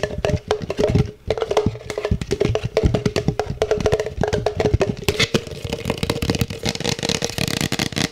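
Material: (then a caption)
Plastic. An empty, hollow black plastic cup with a printed logo is held in the hands and tapped quickly with the fingertips and nails. It makes a fast, dense run of dry, woody clicks and knocks with almost no ring, carrying a low body and a faint steady tone underneath. After about five seconds the taps turn brighter and more scratchy.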